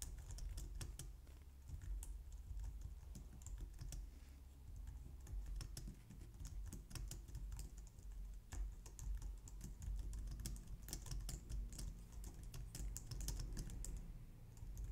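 Long nails and fingertips type steadily on a white low-profile plastic computer keyboard, recorded close up. A dense run of quick, bright clicks and taps plays over a constant low hum for the full clip.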